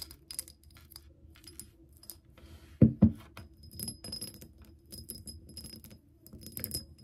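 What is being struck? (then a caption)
Glass pump bottle with liquid. Long nails tap and scratch a clear, bubble-shaped glass pump soap dispenser partly filled with green liquid, held and then set on a table. Soft, dry scratching and light clicks run throughout, broken by two louder, dull knocks just before the three-second mark. Faint high ticks and a low hum sit underneath.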